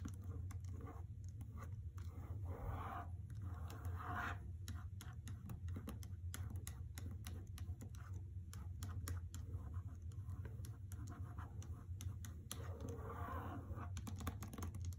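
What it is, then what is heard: Hardcover book with paper dust jacket. Long red-painted nails and fingertips scratch and tap the glossy paper dust jacket of a solid hardcover novel, The Trespasser, lying flat on a carpet. Quick, crisp taps mix with soft, papery scratching strokes over a steady low hum, at a quiet, even level throughout.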